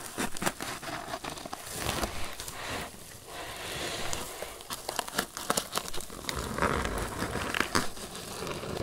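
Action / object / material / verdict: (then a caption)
scrape / crocheted twine basket / twine / none. A grey crocheted twine lidded basket box is held up in both hands while fingertips and nails scratch and squeeze its sides. The result is a steady, dense crinkling and crackling scratch with frequent sharp, bright clicks over a soft, rustling low end.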